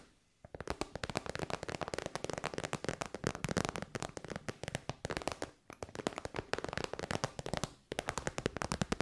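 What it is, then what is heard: Faux-leather pouch tapped and scratched with nails. Long white nails tap and scratch rapidly on the top and side of a hollow, shiny pink metallic faux-leather synthetic pouch. The result is a dense, crackling stream of short, dry clicks with a scratchy edge, broken by brief pauses near half a second, 5.6 and 7.8 seconds.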